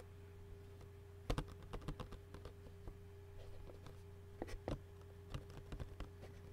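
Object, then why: Clear plastic takeout bowl lid. Fingertips with short nails tap and scratch the hollow clear plastic lid of an empty Qdoba takeout bowl with food residue inside. A series of light, dry clicks and brief scratches comes in uneven bursts over a steady low hum.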